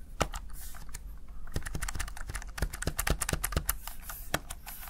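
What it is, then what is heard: Plastic gaming keypad, keys pressed. A small, hollow, backlit plastic Razer Tartarus Chroma gaming keypad has its keys pressed with fingertips and long nails. The result is a quick, uneven run of short, sharp, bright clicks and taps that die away almost instantly over a steady low rumble.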